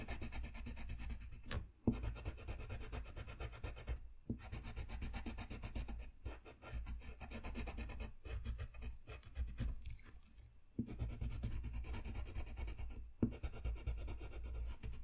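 A dark blue colored pencil scratches and rubs in coloring strokes over a thin, flat sheet of white drawing paper lying on a desk. The result is a steady, low-heavy rasping scrape with a faint hum around 230 Hz, broken by a few brief pauses between strokes.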